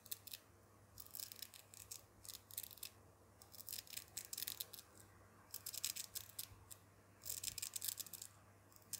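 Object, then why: Small hook-and-loop fabric strap on a doll jacket. A small black woven fabric tab with a textured hook-and-loop surface, on the cuff of a doll's dark jacket, is held between fingertips and rubbed and scratched. Bursts of crisp, bright, scratchy texture come in clusters separated by brief quiet pauses, over a faint low hum.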